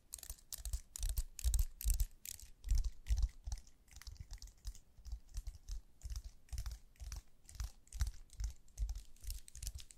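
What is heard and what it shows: A slim white wireless computer keyboard with plastic keys, held in gloved hands, is tapped and typed on with long nails and fingertips. Quick, irregular clicks and soft thuds come in bursts, each with a bright clicky edge and a low knock, dying away almost instantly.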